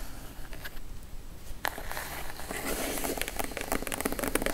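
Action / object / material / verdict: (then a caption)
tap / kraft cardboard box / cardboard / none. Long acrylic nails tap on a plain brown, hollow, closed kraft cardboard box, first on the top edge while the box is held upright, then on the lid once it is laid flat. Faint, dry clicks give way to a sharp tap, followed by a denser run of quick, bright taps and scratchy crackles with very short ring.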